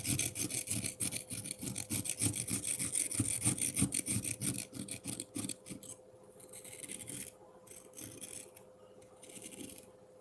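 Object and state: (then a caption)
Frozen milk ice block scraped with a fork. A metal fork rapidly scratches and scrapes the surface of a solid frozen pineapple milk ice block, shaving off fine flakes. Fast, gritty scraping strokes come about three per second for the first six seconds, with bright, crisp highs over a low rasp. They then thin into quieter, spaced-out bursts over a faint steady hum.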